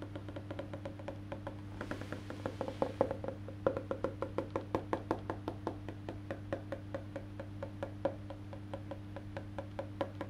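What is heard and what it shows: Fingertips tap and drum on the black-painted solid wood back of an Ibanez electric bass lying face down, while the other hand holds its maple neck. The result is a quick, steady run of short, dry wooden knocks with a hollow mid-pitched tone. A constant low hum sits underneath, and a brief soft hiss appears near the two-second mark.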